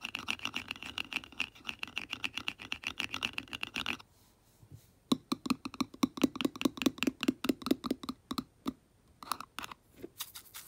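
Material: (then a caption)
Plastic. Long nails and a brush handle scratch and tap the top of the green plastic lid on a small Tetra fish food jar. About four seconds of rapid, bright clicking and scratching give way to a brief quiet stretch of soft scraping. Then come sharper, dry taps with a hollow, low-pitched knock, each one dying away almost instantly.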